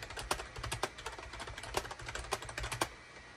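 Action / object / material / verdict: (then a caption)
tap / plastic computer keyboard / plastic / none. Fingertips of both hands type rapidly on a gray SHIPADOO K600 full-size wired USB keyboard, with a hollow gray plastic case and cream, gray and orange plastic keycaps, resting on a desk mat. A quick, uneven run of sharp, short clicky key presses, each with a bright, clacky top, a hollow mid tone around 1 kHz and almost no ring. A faint low rumble runs underneath.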